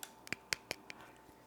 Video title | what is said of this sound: How to Make Arnhemse Meisjes: Thin, Crunchy Dutch Butter Cookies from Arnhem | how crispy they are or the kind of the sugary coating on the outside